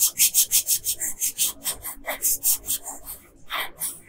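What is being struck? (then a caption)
Wooden colored pencil on a paper sheet. A yellow wooden colored pencil, held in a hand with long pink nails, rubs and scratches back and forth across a printed paper coloring sheet lying flat on a dark desk. It makes 13 quick, bright, hissy scratching strokes at an uneven rhythm of about three per second, with almost no low end.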